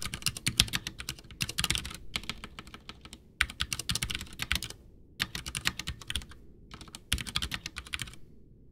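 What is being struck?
Plastic mechanical keyboard.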